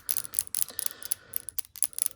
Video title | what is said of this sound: Introduction to Freehand Airbrush Painting: Part 3 | I put a steel ball in here you hear it so when I shake it up